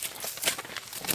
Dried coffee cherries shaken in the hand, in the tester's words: shake it you can hear the beans rattle inside which means it is dry